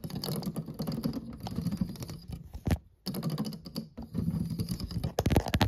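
Fingertips and short nails tap rapidly and lightly across the solid black and white plastic keys of a piano or digital keyboard. The result is a dense, dull clicking patter, much like typing, rather than notes. A brief silence falls near the middle, and a louder burst of taps comes at the end.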